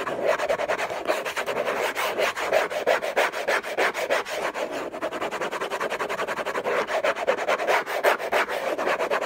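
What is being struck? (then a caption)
Textured-paper cardboard box. Fingertips and nails scratch the lid of a hollow orange cardboard gift box covered in textured paper. The scratching is fast, dense and irregular, about three strokes per second, giving a dry, rasping sound. It centers in the midrange with a bright hiss on top and almost no low end.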